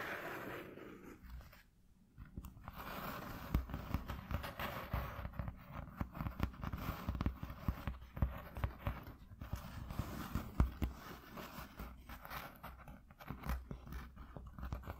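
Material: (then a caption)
Cardboard. Curled fingertips and nails rapidly tap and scratch a flat white piece of corrugated cardboard lying on a dark cloth. The result is a dense stream of soft, dull, low-heavy taps mixed with papery scratching that rises and falls in bursts, with a brief quiet pause near the start.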